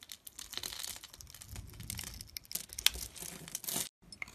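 A blade scrapes pre-scored cubes off a solid orange bar of soap held in the fingers, and the small cubes crumble away. Dense, bright crackling and crisp scraping run throughout, with one sharp click near the middle. The sound drops briefly to silence just before the end.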